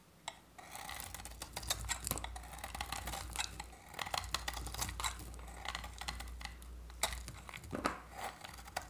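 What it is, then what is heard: Dry soap bar scraped with a blade. A utility-knife blade scrapes thin flakes off a solid oval bar of dry, varnished orange soap with remnants of a blue coating, held in the hand. Dense, dry scraping and crisp, bright rasps come in quick, uneven strokes over a steady low hum. Sharper clicks stand out here and there.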